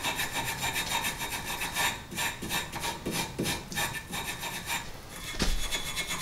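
A gloved hand works a hand tool, such as a wire brush or file, over a rusty, solid cast iron brake caliper and bracket mounted on a car hub. It makes a steady run of quick, bright scratching and rubbing strokes with a gritty rasp and a faint low rumble underneath.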